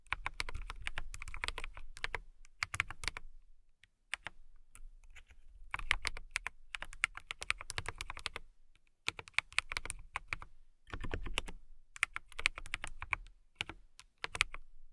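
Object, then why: Plastic mechanical keyboard. Long-nailed fingertips type on a transparent mechanical keyboard with RGB lighting and clear plastic keycaps. Bursts of rapid, crisp, bright clacks with a light low thump are separated by short pauses, and each tap dies away almost at once.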